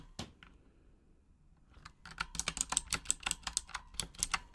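A full-size pink Razer Huntsman mechanical gaming keyboard with RGB backlighting and plastic keycaps is typed on with long acrylic nails. A sharp click, one fainter tap, and a brief quiet are followed by a fast run of bright, clicky keystrokes. The taps are crisp, with little low end and almost no ring.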